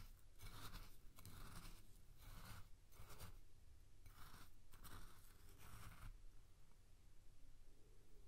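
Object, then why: Coarse salt in a glass bowl. A spoon scrapes and scoops through coarse salt in a clear glass bowl, dragging along the glass. Repeated gritty, crunching bursts of bright noise come in quick strokes, then stop after about six seconds, leaving a faint low hum.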